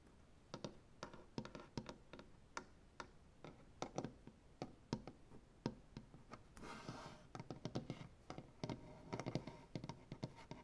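Fingernails tap in a quick ticking rhythm on a solid, light-wood maple butcher block tabletop, producing a quiet series of short, dry clicks with little ring. Midway, a brief scratch across the wood adds a bright, breathy rasp before the tapping resumes.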